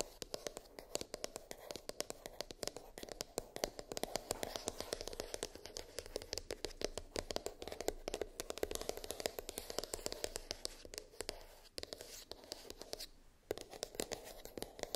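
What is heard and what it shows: Long nails tap and scratch the lid of a small white printed cardboard iPhone box, hollow and rigid, lying on a fluffy rug. Rapid, dry clicks and scratchy strokes run almost nonstop, with a hollow midrange tone and bright edges. There is a brief pause near the end before the tapping resumes.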